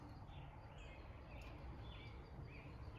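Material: Nothing is struck.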